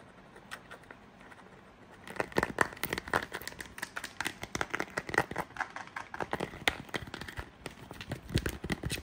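Long nails and fingertips tap and scratch an empty, transparent plastic phone case with a Simply Orange label insert, held close. After about two seconds of faint, sparse ticks, a fast, dense run of sharp, bright clicks and crinkly scratches begins and continues to the end.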